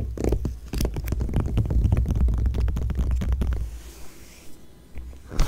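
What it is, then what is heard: Glossy magazine page being scratched. Long nails and fingertips of both hands scratch and rub across an open glossy magazine page. A dense run of quick, crackly scratches over a deep, boomy rumble fills the first few seconds, then eases into quieter, softer rubbing with a few scattered scrapes before a final sharp burst.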